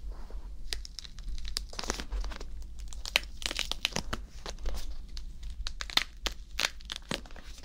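A whole green bell pepper, hollow with a waxy skin, is held in one hand while fingertips and nails scratch, rub and squeeze its surface. The result is a dense run of quick, crisp crinkling squeaks and scrapes with bright highs, over a steady low hum.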